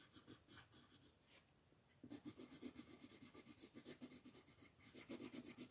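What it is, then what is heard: Colored pencil scratching on paper. A pink colored pencil rubs and scratches across a flat white paper mandala sheet while coloring in the petals. Quick, scratchy back-and-forth strokes come at about four per second, with a bright hiss over a low papery rasp. They soften briefly, then return louder and steadier.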